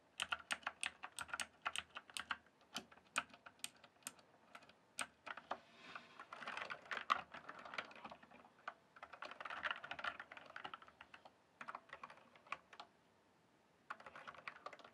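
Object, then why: Plastic mechanical computer keyboard. A full-size RGB-backlit plastic mechanical computer keyboard, the Cyberpower Skorpion K1, with hollow keys on a solid base, is typed and tapped with fingertips. Quick, dry clicks patter in bursts with brief pauses and a quiet gap near the end, each keystroke short and bright with almost no ring.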